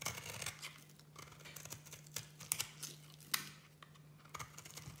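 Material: Soap.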